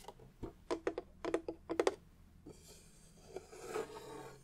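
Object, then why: Wooden tissue box cover. A vintage book-style tissue box cover made of wood is handled and tapped, giving a quick run of sharp, light taps with a mid-pitched knock. A softer scraping and rustling follows as it is moved.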